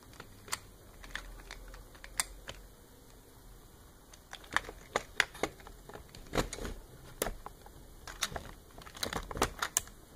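Fingertips and nails tap and scratch the small plastic fish and the plastic tray of a hollow blue plastic toy fishing-game base. The result is a quiet, irregular run of sharp, dry, bright clicks and light scratches that stop instantly, with busier clusters in the second half.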